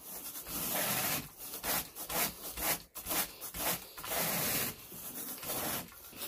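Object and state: Carpet pile being raked.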